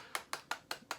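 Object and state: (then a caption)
Hard plastic figure robe, solid. Five knocks on the sculpted hard plastic robe of a Star Wars Power of the Jedi Boss Nass action figure, a robe that is not soft cloth goods. Each knock is a short, dry, bright click centred around 2 kHz with almost no low end, dying away quickly. The sound shows the robe is hard as a rock.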